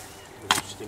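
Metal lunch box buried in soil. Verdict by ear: Hollow.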